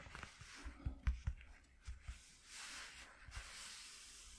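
Short nails on both hands scratch and rub along the ridges of a flat white corrugated cardboard piece lying on a dark cloth. Soft, low thumps mix with dry, raspy scratches, followed by a longer, brighter hissing rub that fades into a quiet scraping texture.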